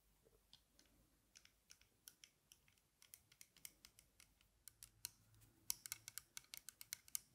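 Long nails tap and scratch the thin metal frame and arms of metal-frame aviator sunglasses with dark lenses, held in the hands close to the mic. About 25 quiet, bright, sharp ticks sound separately over a faint hiss, each dying away almost at once. The taps grow louder and come faster toward the end.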